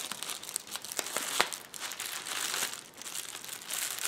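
Fingertips and nails press, rub and scratch the bubbles on a hollow roll of clear plastic bubble wrap resting on a table. The result is a steady, bright crinkling and rustling texture with quick, sharp crackles, the loudest snap coming near the middle of the clip.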